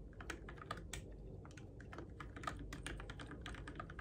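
Fingertips type on the plastic keycaps of a Keychron K6 compact RGB-backlit mechanical keyboard in the dark, giving a quick, steady run of short clicky taps. Each keystroke is a sharp, bright click over a low, constant rumble.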